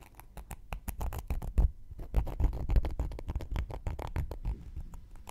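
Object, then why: Cork coaster and wooden knitting needle. A round, flat, solid cork coaster is held in one hand while a thin wooden knitting needle scratches and pokes at its surface. It makes a quick, irregular patter of dry, muffled taps and scrapes, heavy in the low end, with each sound stopping at once and no ring.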